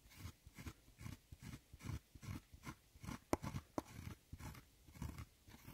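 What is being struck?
Pressed powder eyeshadow pan scraped with a metal loop tool.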